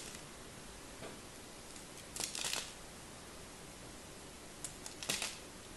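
A small craft knife blade carves and scrapes the surface of a palm-sized, solid pink-and-white striped bar of soap held in one hand, with flakes dropping below. Over a steady quiet hiss, two short bursts of bright, crisp scraping stand out, one a little past two seconds and another near the end.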